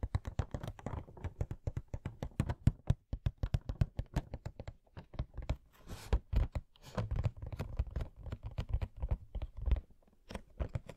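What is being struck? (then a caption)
Cardboard collectible box. A hollow cardboard Coca-Cola Funko Pop box is tapped with fingernails on its bottom, front and sides. Rapid, dense runs of short, dull, low-pitched taps die away almost instantly, with brief scratchy brushing sounds mixed in around the middle.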